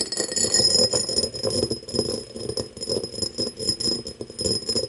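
Long nails tap and scratch an empty cut-crystal glass tumbler turned with its mouth forward, making a rapid, busy stream of bright clicks and scrapes. A steady high ringing tone sits over them, and each tap fades quickly.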